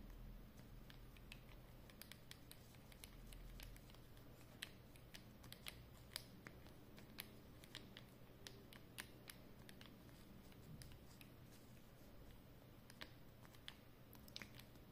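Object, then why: Plastic permanent marker. Long painted nails tap and click on the barrel and cap of a capped black plastic Edding 300 permanent marker, small and hollow and held in both hands, and scratch along it. Sharp, bright, quick clicks pop out irregularly over a soft, steady scratching and a low background hum.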